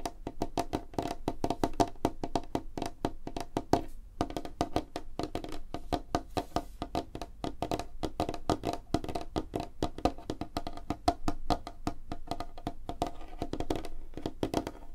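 Fingertips and nails of both hands tap rapidly on a light, solid wooden tabletop, producing a dense stream of short, dry knocks with a woody tone around 695 Hz and a full low end. The tapping runs continuously for about 15 seconds, with a brief pause near the 4-second mark, and each tap dies away almost instantly.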